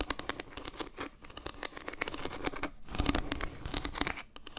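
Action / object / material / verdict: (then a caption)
scrape / wooden log-slice trivet / wood / none. Long nails scratch and tap a round, flat wooden log-slice trivet held close to the mic. A quick, uneven run of short, dry taps mixes with rough scratching that fills in bright and low. The taps die away almost instantly.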